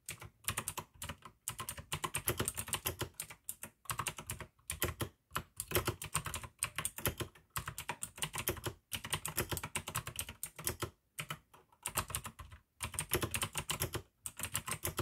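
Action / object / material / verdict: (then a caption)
tap / plastic mechanical keyboard with clicky switches / plastic / none. Continuous two-handed fingertip typing on a full-size pink AUKEY mechanical keyboard with plastic keycaps and clicky blue switches. Rapid bursts of crisp, bright clicks over a low plastic thud, each keystroke dying away almost instantly. The bursts are broken by short silent pauses.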